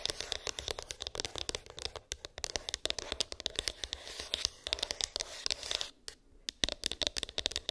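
Long pink acrylic nails rapidly tap and scratch a small, hollow white cardboard iPhone box with an embossed, textured lid; its contents are unknown. Dozens of sharp, bright clicks and dry scratching strokes crowd together with almost no low end, each dying away at once. The run breaks briefly near two seconds and again around six seconds before the tapping resumes.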